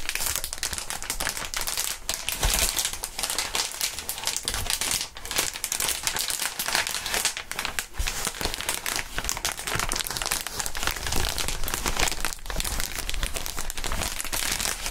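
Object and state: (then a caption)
Plastic air column cushion wrap. Gloved fingertips squeeze and crinkle clear, hollow, inflated plastic air column cushion wrap. Dense, bright crinkling runs steadily for the whole fifteen seconds, with quick sharp snaps scattered through it and a soft low rumble underneath.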